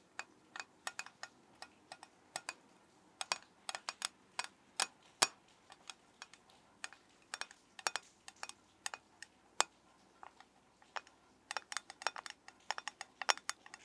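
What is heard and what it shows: A metal soap tin is tapped with the fingers in an irregular stream of about forty quick, separate taps. Each tap is a short, crisp click with bright high-end snap and almost no ring, heard at a quiet level.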